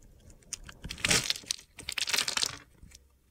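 A metal box cutter blade cuts and scrapes the pre-scored surface of a solid rectangular blue bar of soap held in hand, breaking it into small cubes whose crumbs fall onto a glitter surface. The sound is a series of bright, crisp crunching and crackling scrapes, with louder gritty bursts around the middle and again toward the end before fading to quiet.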